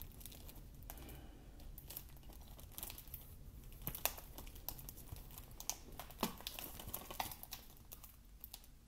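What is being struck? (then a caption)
Plastic game case in cellophane wrap. Fingertips tap and scratch the cover of a cellophane-wrapped plastic Xbox game case held close to the mic. It produces quiet, dense crinkling with brief bright clicks and scratchy rustles over a steady low background hum. Several slightly louder taps stand out toward the middle before the sound tapers off.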